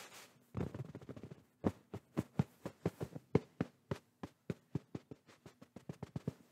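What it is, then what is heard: Fabric pillow, soft tapping. Fingertips and palms tap and pat a medium-soft pillow in a grey-and-white floral patterned cotton case held against the microphone. A quick flurry of soft rubbing pats gives way to a steady run of separate, dull, muffled thumps with a low tone. They stop dead with no ring.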